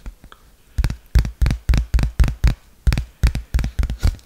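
A dark smartphone with a glass back, metal frame and dual camera, held in both hands, is tapped and scratched on its back with fingertips and nails. The result is a quick run of short, dull, low thumps with soft scratchy edges. Each one dies away almost at once, with fainter light taps at the start.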